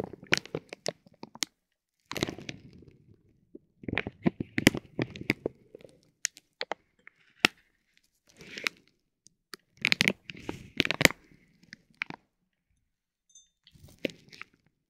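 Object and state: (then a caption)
Vinyl plastic film crinkling over a tape roll. A metal ball-tipped stick presses and rubs a soft, clear vinyl plastic bag wrapped around a silver tape roll resting on a gold plate. It produces slow, gentle bursts of bright crinkling and sharp crackles, with quiet pauses in between.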